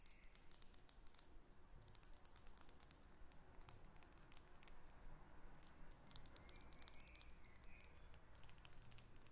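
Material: Glass.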